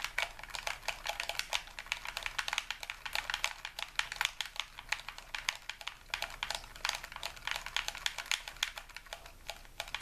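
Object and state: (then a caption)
Plastic game controller buttons clicking. A hollow white plastic game controller is held in both hands while its buttons are repeatedly pressed and clicked with the fingertips. The result is a steady, rapid stream of short, bright, typing-like plastic clicks that die away almost instantly. There is very little low end, and the clicks' main pitch sits around 2.3 kHz.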